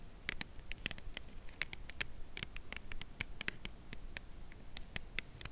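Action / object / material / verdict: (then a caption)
tap / cardboard chocolate bar box / cardboard / none. Long nails tap slowly and gently along the narrow edge of a full cardboard chocolate bar box held horizontally. A steady string of short, dry, bright clicks with a papery edge sounds over a low, soft background rumble, each click dying away almost instantly.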